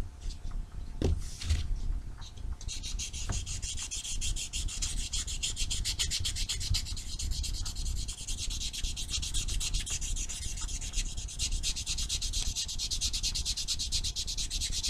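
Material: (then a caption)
Foam. A small rectangular solid foam nail buffer block with blue and white abrasive faces is rubbed back and forth against black fingernails in a filing, sanding motion. After a softer, uneven start with a few low bumps, it settles into a steady, fast run of bright, scratchy rasping strokes over a low rumble that lasts to the end.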